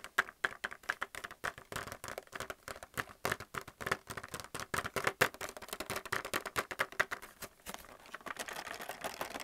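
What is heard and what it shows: Fingernails tap quickly on the plastic blister of a plastic paint palette still in its blister pack. The result is a rapid, uneven stream of sharp, dry clicks with a hollow plastic tone, mostly midrange with some brightness and almost no low end. Each tap dies away almost instantly, and the tapping becomes softer and more continuous toward the end.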